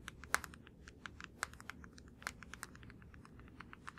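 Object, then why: Plastic deodorant stick. Fingertips tap quickly on a blue plastic deodorant stick held in both hands. The result is a soft, irregular stream of dry, clicky plastic taps with a bright edge, a few landing noticeably harder than the rest, over a faint low rumble.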